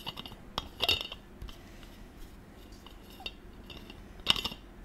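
Fingers screw a silver metal cap on and off the threaded neck of a gold stainless-steel water bottle. Quiet, bright metallic clicks and light grinding scrapes ring around 2.9 kHz, with a louder cluster of clinks near the start and another near the end, each dying away almost instantly.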